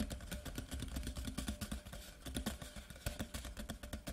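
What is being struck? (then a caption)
Cardboard whisky tube. Both hands tap quickly with fingertips and short nails on the top surface of a large, white, printed, hollow cardboard whisky tube lying horizontally. The result is a fast, continuous stream of soft, dull taps with a deep, hollow low-end thump. Faint, bright nail clicks sit on top.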